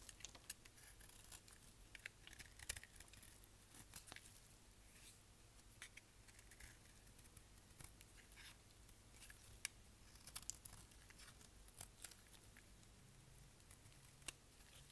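A solid black dry bar soap held in the hand has its surface shaved with a utility knife blade. Quiet, bright, crisp scraping and crackling comes through as a steady stream of short sharp clicks and flakes breaking off. A faint low hum sits underneath.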